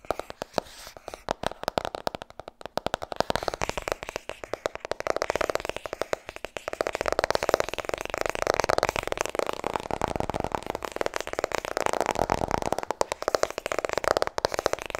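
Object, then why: Paperback book with a soft card cover. Long nails rapidly tap and scratch the cover of a white softcover paperback, *Vertrouw me*. Quick, dry clicks and papery scraping sit mostly in the midrange, with little bass. The tapping grows denser and steadier in the second half.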